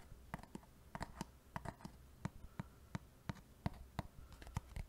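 A small, hollow white cardboard box that appears empty is held close to the microphone in one hand and tapped and scratched with the fingertips and nails of the other hand. Quiet, dull, low knocks with very short decay land in an irregular run over a soft rustling scrape, with bright clicky edges on each tap.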